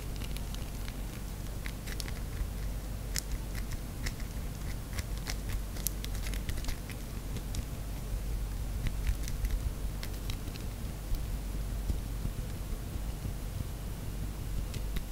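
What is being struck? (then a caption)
Bar of soap. Long manicured white-and-gold nails scratch fast at a solid rectangular pink bar of soap with a paper label, held in both hands, while shavings collect on the tray below. A steady low rumble runs under a continuous patter of quick, bright, crackly scratches that keeps an even level throughout.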